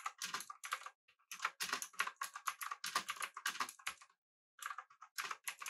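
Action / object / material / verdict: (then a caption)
tap / mechanical keyboard with round plastic keycaps / plastic / none. Fingertips of both hands type continuously on a full-size pink typewriter-style mechanical keyboard with an aluminum body and round, backlit plastic keycaps. Dense, quick clicky keystrokes with bright, crisp attacks and almost no low end come in bursts, with a brief pause partway through.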